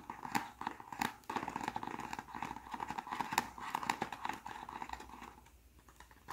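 Fingertips tap and scratch the folded top flap and front of a small white cardboard press-on nail box held in the hands. The result is a dense run of quick, dry taps with papery scratching and a bright midrange tone. The sound thins toward the end.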